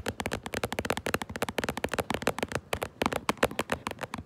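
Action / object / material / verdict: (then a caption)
tap / cardboard box / cardboard / none. Long nails tap rapidly on the front of a cardboard Minecraft Lego box held close, giving about 25 quick, irregular clicky taps. Each tap is short and hollow-sounding, centered around the midrange, and dies away almost instantly.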